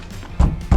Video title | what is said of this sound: 이걸 모르고 혼다 어코드 하이브리드 샀다가 후회합니다 - 중고차 구매대행 | 원래 보시면 이렇게 둔탁한 소리가 나야 되거든요